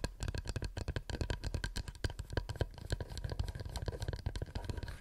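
A wooden plate is tapped with the nails in a fast, continuous series of light, dry clicks. Each tap is very short with almost no ring, and carries a soft, low body under faint bright ticks at a quiet, steady level.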